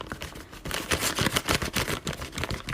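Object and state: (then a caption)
Half-sized xuan rice paper tearing crisply, a sign of poor quality. A sheet of half-sized (half-raw) xuan rice paper is torn, giving a crisp, brittle series of crackling rips with a bright, dry edge and almost no ring. The crisp tearing marks it as poor-quality paper, since good raw xuan paper tears softly with cotton-like fibres.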